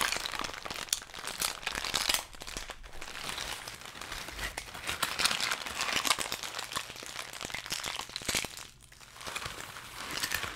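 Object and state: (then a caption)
Kraft packing paper being crumpled. Brown kraft packing paper is crushed into a ball between both gloved hands. Dense, bright crinkling and sharp crackles run almost continuously, with brief dips in loudness around 2 and 9 seconds.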